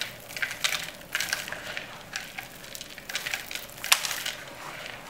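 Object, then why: Dry soap flakes crushed by hand. Two hands squeeze and crush handfuls of small, dry green soap shavings and crumbs in a yellow plastic bowl. The brittle pieces give bright, crisp crackling and crumbling crunches with sharp little pops, and almost no low end.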